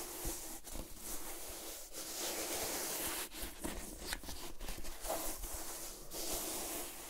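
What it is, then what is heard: Calf-hair ankle boot being scratched. Long manicured nails scratch and rub along the leopard-print hair-on upper of a single hollow, empty calf-hair ankle boot with a black side panel, held in hand. The result is a steady, bright, hissy scratching and rustling with brief dips between strokes.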